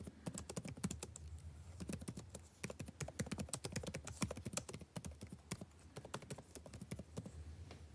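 Fingertips type steadily on the plastic keys of a backlit laptop keyboard, the same keyboard throughout, producing a dense run of quick, dry tapping clicks with bright edges. A low, steady hum sits underneath the keystrokes.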